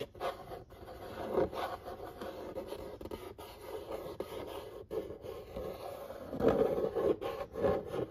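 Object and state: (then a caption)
Cardboard pizza box being scratched. Fingertips and nails trace and scratch across the printed illustration on a large, flat, corrugated cardboard pizza box lid. The result is a steady, dry rubbing and scraping in the midrange, with brief breaks between strokes. The strokes swell louder around the middle and toward the end.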